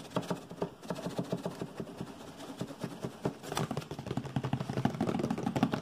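A medium brown hollow cardboard box is held in hands and tapped and scratched quickly with fingertips and nails. Rapid, dry, hollow taps with short scraping strokes repeat in a busy, uneven rhythm, and they grow denser and louder toward the end.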